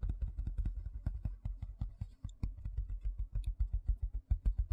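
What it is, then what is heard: Plastic tray tapped and scratched. Fingertips and nails tap and scratch quickly on the flat face of a large white plastic tray held vertically. A fast, uneven stream of short, dull, low thumps with almost no ring is mixed with faint, brief scratchy ticks.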